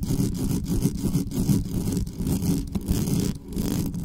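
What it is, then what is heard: Metal microphone grille being scratched. Long nails scratch quickly across the top of the grille on a dark metal USB condenser desktop microphone with no cover. The result is a dense, continuous, low-heavy scraping rumble, broken up by rapid strokes with almost no bright content.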